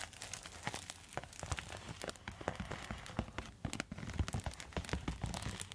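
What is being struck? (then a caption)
Quilted foil thermal pouch. A silver quilted foil thermal zip pouch is scratched and tapped with long metal nail tips. The result is a quiet, steady stream of crinkly scratching and crisp taps. Short bright clicks sit over soft low thumps, much like rain pattering on a surface.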